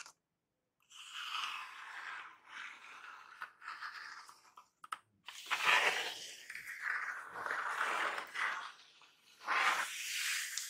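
Fingertips and medium painted nails scratch and tap the surface of a large, hollow, flattened brown corrugated cardboard Amazon box lying flat, then the hands hold its edges. The result is dry, crunchy scraping with a few sharp taps in the middle, all in the mid and bright range with no low end. The scratching grows louder and rougher toward the end.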